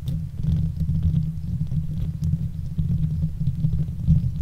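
Long nails and fingertips of both hands scratch and rub the hollow metal wire-mesh head of a silver Blue Yeti microphone. The result is a continuous low, muffled rumbling scrape that throbs steadily throughout, with faint brighter scratchy flecks above it.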